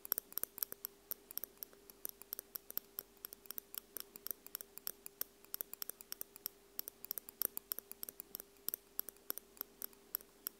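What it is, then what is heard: Metal tweezers tapping metal microphone capsules. Two metal tweezers, held near the tips, tap rapidly on the small hollow metal capsule housings of a Tascam X-Y recorder. The result is a quick, uneven run of bright, sharp metallic ticks, each dying away almost instantly over a faint steady low hum.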